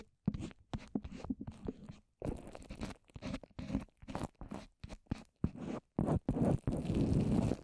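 Long orange nails on both hands tap and scratch a rounded microphone covered in wet white papier-mâché. It makes a string of dull, crunchy, sticky bursts, heavy in the low end with quick decay and short gaps between them. Toward the end the scratching turns into longer, denser rubbing.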